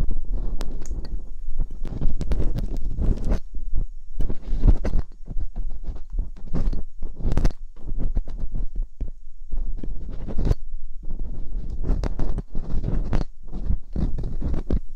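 Metal dental picks scrape inside the ear canals of silicone ear molds on a white binaural microphone. The result is a dense run of close, muffled scratching and thumping, heavy in low rumble with brief bright clicks, pausing only in short gaps.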